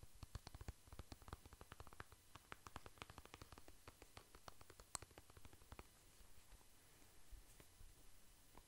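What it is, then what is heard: Plastic cream tube. Fingertips tap and scratch a soft plastic cream tube held in the hands. The result is a quiet, dense run of fast, dry clicks and scrapes with no ring. The taps are sharp and frequent in the first half and thin out into softer scratching toward the end.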